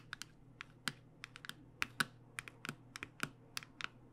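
Long nails tap rapidly along the edge of a cardboard box of acrylic paint pens held flat, producing about eighteen short, dry, bright clicks in an uneven, quick rhythm. Each tap dies away almost instantly, with its sharp click centered around 1.5 kHz over a faint low hum.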